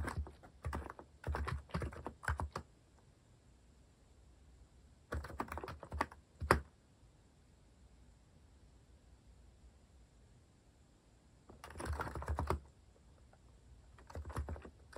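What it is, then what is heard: Plastic mechanical keyboard typing. Fingertips type on a compact mechanical keyboard with a white plastic case and plastic cat keycaps. Bursts of clacky keystrokes come at about 0–3 s, 5–7 s, around 12 s and near 14.5 s, with quiet gaps between. Each key sound is short and dry.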